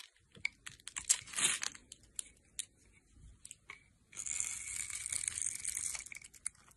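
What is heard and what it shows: A metal blade cuts into a solid teal rectangular bar of dry soap held in the hand, scoring it into a grid and scraping off small sticks and cubes. Short, crisp, bright scratches and clicks come first. A longer, steady, high-pitched scraping rasp follows in the second half.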